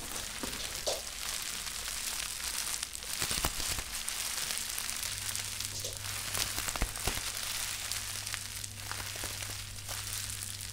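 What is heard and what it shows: A small wad of plastic bubble wrap is squeezed and crushed by both hands, popping its bubbles. A steady, bright crinkling hiss runs throughout, broken by scattered sharp pops, over a faint low hum.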